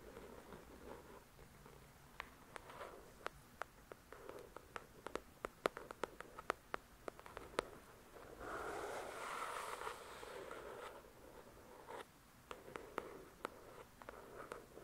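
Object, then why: Paperback book with card cover. Long, pointed dark red nails tap and scratch the glossy card cover of a paperback copy of the novel "The Shack," a solid paper book, heard close up. Dozens of short, sharp, irregular taps are broken by a sustained, brighter scratching rub from about 8.5 to 11 seconds before the tapping resumes.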